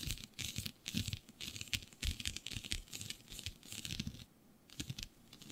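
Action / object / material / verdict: scrape / synthetic stretch fabric / synthetic fabric / none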